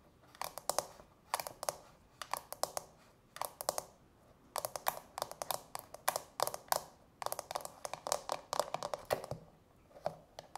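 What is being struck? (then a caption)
Frosted plastic nail-soak bowl with domed insert. Long natural fingernails of both hands tap rapidly on the domed inner insert of a small, hollow, empty frosted translucent plastic manicure soak bowl. The taps come in quick bursts separated by short pauses, producing dry, bright plastic clicks with a light hollow tone and almost no ring.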